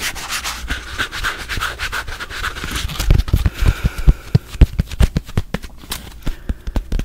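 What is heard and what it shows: A hand-sized rectangular kitchen sponge, soft and porous with a yellow foam side and an orange abrasive scrub pad, is held in the hands and rubbed with the fingers. For the first three seconds there is a steady, scratchy rubbing hiss. It then turns into a quick run of short, sharp scuffs and dull low thumps that stop abruptly.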